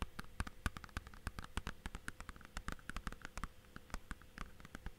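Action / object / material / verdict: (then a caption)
tap / plastic DVD case / plastic / none. Fingertips and nails tap and scratch the surface and spine of a hollow, clear plastic DVD/game case, held at an angle and then flat. The result is a quiet, rapid, irregular stream of short, dry clicks and light scratches, each with a low, hollow knock and almost no ring, over a faint steady low hum.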